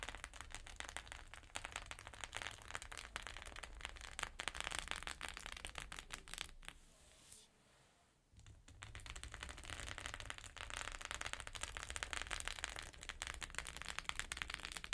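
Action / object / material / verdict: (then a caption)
tap / sequin fabric pouch / sequins / none. Long pink nails tap quickly on the surface of a flat rainbow sequin fabric pouch, making a dense stream of bright, crisp clicks and rattles. The tapping briefly falls quiet in the middle, then picks back up at full pace.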